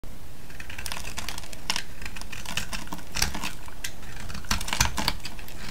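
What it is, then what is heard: Soap bar shaved with a blade. A small metal blade shaves and scrapes a solid, hand-sized vintage yellow soap bar held in the hand, peeling off flakes. Dense, crisp clicks and scratchy crackles, bright in tone, sound in quick irregular bursts over a steady low rumble.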